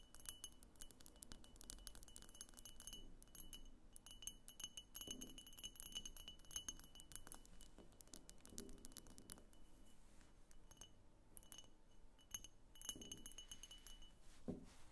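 A medium, hollow, egg-shaped pink glass diffuser vase of opaque glass on a thick clear glass base, standing on a wooden table, is tapped all over its sides with long painted fingernails. Quick, quiet, continuous clicks and clinks each carry a short bright glassy ring with a steady tone near 3 kHz, under a soft low rumble.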